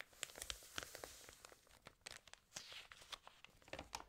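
Fingers rub, lift and turn the pages of an open, water-damaged glossy paper fashion magazine. The result is quiet, dry crinkling and rustling, broken by sharp, bright crackles and snaps as the stiff, warped pages bend and flip.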